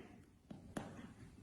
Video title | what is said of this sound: Reteta chocolate doughnuts | they sound hollow when you tap them on the base